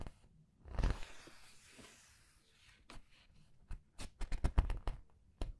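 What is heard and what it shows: Paper pages of a large art book are turned and squeezed with the nails. A soft, broad rustle of a page sweeping over comes first, followed by a quick run of sharp, dry clicks and crinkles as the pages are pinched, in a quiet setting.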